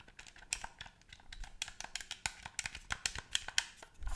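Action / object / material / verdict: tap / plastic game controller / plastic / none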